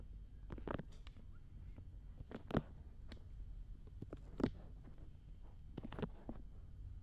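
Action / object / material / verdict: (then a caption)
scrape / silicone ear of a binaural dummy head microphone / silicone / none. Fingertips and long red-painted nails rub and scratch both soft silicone ears of a black binaural dummy head microphone, directly on the microphone. Close, muffled low rumbling from the rubbing is broken by short, crackly scratch bursts that flick up bright, with a couple of louder scrapes standing out. The level stays quiet and intimate throughout.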